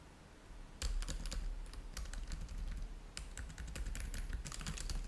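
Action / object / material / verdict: tap / laptop keyboard with plastic chiclet keys / plastic / none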